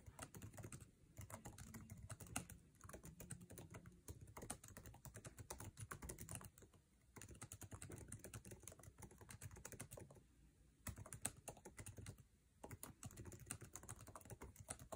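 Fingertips of both hands type fast on the backlit, low-profile scissor-switch keyboard with plastic keycaps of an aluminum MacBook Air resting on a table. A dense, rapid stream of short, dry key taps with a low thumpy body and bright click tops comes in bursts, broken by a few brief pauses, and each tap dies away almost instantly.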